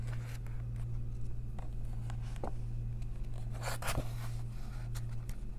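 Long nails trace the printed text of an open paper coloring book, giving short, bright scratching strokes, then turn a page with a papery rustle and flip. A steady low hum sits underneath throughout.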